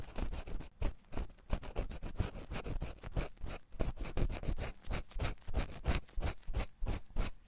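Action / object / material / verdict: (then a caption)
scrape / silicone ear of a binaural microphone scratched with a wooden pick / silicone / none. A wooden ear pick scratches inside the ear canal of a white silicone ear on a 3Dio binaural microphone. Rapid, uneven scratching strokes come about three times per second, with a heavy, close low-end thump beneath brief bright scraping edges.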